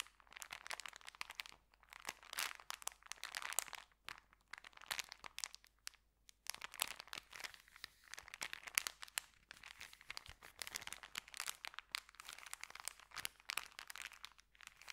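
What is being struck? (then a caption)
Folded paper bag. Fingers squeeze, bend and crinkle a small folded white paper sandwich bag. The result is dense, bright, papery crackling in quiet bursts, with short gaps around the 4- and 6-second marks and almost no low end.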